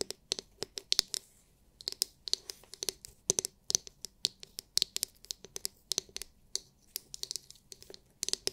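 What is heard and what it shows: Long nails scratch and tap a palm-sized oval massage brush with a hard, clear, glitter-filled plastic dome and plastic bristles. About forty crisp, bright clicks and scratchy ticks come in uneven bursts with brief pauses, each dying almost instantly. The sound is quiet, with almost no low end.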